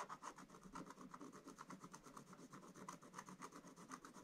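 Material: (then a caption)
Coated paper. A wooden stylus scratches the black coating along the top edge of the picture on a flat scratch-art paper page. Quick, uneven rasping strokes come about four times a second, each a short scratchy burst with a mid-pitched tone and a bright hiss. The strokes stay quiet and close throughout.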